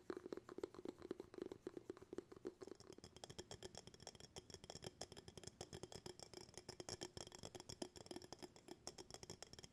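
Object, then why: Glass jar with bamboo lid. An empty glass jar with a bamboo lid is held up while fingertips tap rapidly and continuously on the lid and the glass walls. The taps are short, quiet and dry, with a hollow tone near 380 Hz that is strongest in the first few seconds, then brighter, ringing glassy clicks take over.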